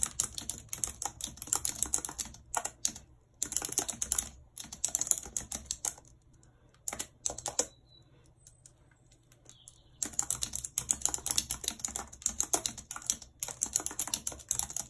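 Long red nails tap the keys of a white plastic computer keyboard in steady typing, giving rapid, bright, crisp clicks. The typing runs in bursts, with short pauses and a longer near-silent gap in the middle before it resumes.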